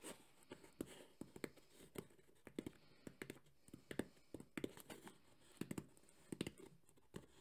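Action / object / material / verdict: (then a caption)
tap / hard EVA foam speaker case / EVA foam / none. Fingertips tap and scratch fast on the top of a black, textured, hollow JBL hard EVA speaker carrying case. Quick, dry taps with a low hollow knock around 250 Hz die away almost at once, with soft scratching between them.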